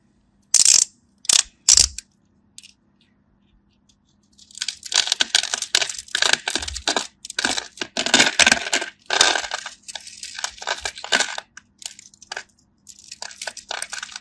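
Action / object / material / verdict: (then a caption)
scrape / bar of soap cut with a knife / soap / none. A craft knife blade scores a palm-sized, solid cream-white bar of dry soap held in the hand in a grid pattern, so crisp cubes crumble off. Three sharp, bright crunches come first, then after a pause a dense run of dry, crackly scraping and cutting with quick gaps between strokes.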